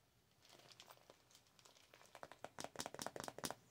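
Long nails tap and scratch a holographic vinyl (PVC) cosmetic pouch, making crinkly, bright plastic ticks and rustles. The sounds start soft and scattered, then grow into a quicker, louder run of sharp crinkly taps toward the end.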